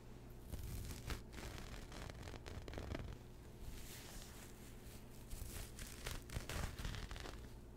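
Fingertips and short nails scratch and rub a pastel speckled knit fabric pouch with a mint zipper, held beside the mic. The result is a steady, close-up scratchy rustle with crackly, bright bursts over a low rumble, swelling and easing throughout.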